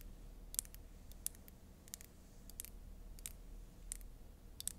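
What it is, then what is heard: Glass foundation bottle. A small rectangular glass Dior foundation bottle with a black cap, filled with liquid foundation, is held in the hands and tapped and scratched with long acrylic nails. Sharp, bright clicks of the nails on glass come in scattered bursts over a faint low hum.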